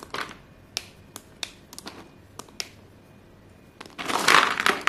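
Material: Chalk.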